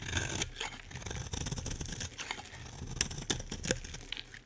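A utility knife blade shaves a solid green bar of soap, peeling off thin curls. Soft, crisp scraping and rasping strokes run throughout with a bright, papery texture, broken by a few sharp clicks near the three-second mark before fading quieter at the end.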